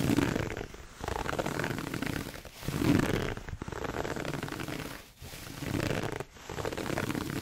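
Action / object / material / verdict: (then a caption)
scrape / pleated satin fabric heart box / satin / none. Fingertips and nails scratch and rub the pleated fabric of a hollow red pleated satin heart gift box held close to the mic. The result is a dense, rustling scratch texture with a strong low-mid body, broken by short pauses into several bursts of varying loudness.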